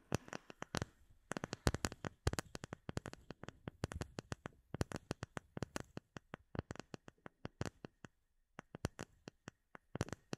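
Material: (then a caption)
Acrylic. Fingertips and short nails tap and scratch the surface of a flat, solid, clear acrylic plate about the size of a hand, with air bubbles embedded in it, held in both hands in front of a microphone. Quick, irregular clusters of short, dry clicks follow one another, each a dull low knock with a bright tick on top that dies away almost at once. The sound is quiet and close, with a brief pause just past eight seconds before the tapping resumes.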